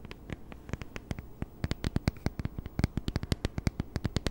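Long nails tap and scratch the screen and back of a small, flat plastic e-reader with a plastic body and screen, a solid device held in both hands close to the mic. About thirty quick, dry clicks sound over a low background hiss, each dying away almost at once. Their body is low, with a faint bright tick on top.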